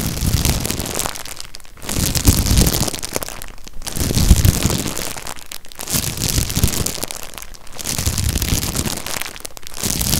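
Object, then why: Stack of disposable cups in a plastic wrapper. Fingertips grip, rub and crinkle the clear plastic wrapper around a stack of empty, ribbed, disposable white cups held close. Dense, bright crackling comes in swells of about two seconds with a low handling rumble underneath, each separated by a brief quieter dip.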